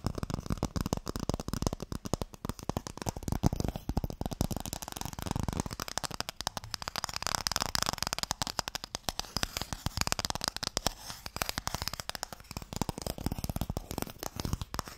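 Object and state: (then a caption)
Wooden Mikado box. A small, closed, pale wooden Mikado box, hollow and holding sticks, is held in the hands and tapped quickly on the lid with fingertips and nails. The result is a steady, dense stream of short, dry taps, each with a hollow low thump and a bright clicky edge, continuing throughout without speech.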